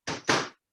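A corn tortilla tostada shell, just taken out of the microwave, is knocked twice. Each knock gives a brittle, bright crackle, and the second is louder than the first. The shell sounds perfectly crisp.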